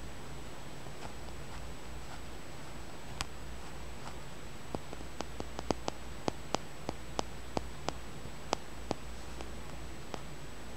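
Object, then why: Small tumbled stone. Fingernails tap and scratch a small, solid, dark blackish tumbled and polished stone held in the fingers. Seventeen sharp, dry clicks come at an uneven pace, each dying away almost instantly over a faint, steady low hum, with soft scratching between them.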